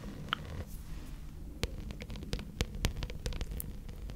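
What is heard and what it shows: A rolled gold glitter plastic placemat, a thin flexible sheet, is tapped and scratched with long red nails. Sharp, bright clicks and short scratches are scattered over a steady low hum, with each tap fading almost at once.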